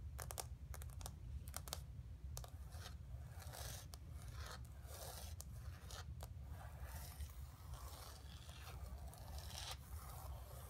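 Long nails scratch the textured paint of a flat painted canvas board lying on carpet, making quiet, dry scraping strokes broken by sharp bright ticks. A steady low hum runs underneath throughout.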